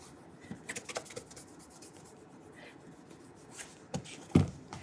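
A burgundy leather cap-toe shoe with a wooden shoe tree inside is held in one hand while its toe is rubbed with an orange polishing cloth wrapped around the fingers. The quiet, low, soft rubbing is broken by light scuffs and a few short brushing swishes, and a sharper knock sounds near the end.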